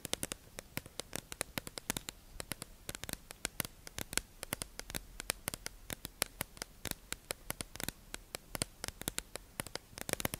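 A hollow, tube-shaped clear plastic package holding two beige makeup sponges is held in the hand and tapped and scratched with long acrylic nails. Some 60 sharp, bright clicks and taps come in quick, uneven bursts and die away instantly over a faint steady hiss of scratching.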